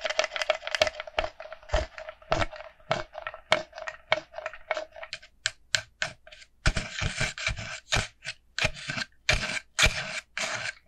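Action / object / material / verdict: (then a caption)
tap / plastic pumpkin bucket / plastic / none. A small, hollow, empty orange plastic jack-o'-lantern bucket with a black wire handle is tapped and scratched with long nails. A rapid run of sharp, dry clicks and scraping bursts carries a steady hollow plastic tone near 620 Hz. Bright, hissy scratching swells fill the second half between the taps.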